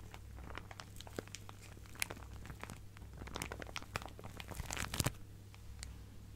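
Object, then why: Plastic zip-lock bag filled with fabric scraps. A clear plastic zip-lock bag full of fabric scraps is squeezed and crinkled by fingertips and nails. Many quick, sharp crackles snap out over a steady low hum, clustering toward the end before easing off.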